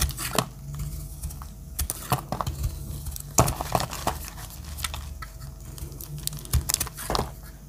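A metal utility-knife blade chips and cuts small dry pieces off a pale yellow solid dry soap bar. Crisp, short scraping and snapping clicks come in an irregular stream, some sharp and bright, over a low steady hum. Each chip is dry and brief, with almost no ring after it.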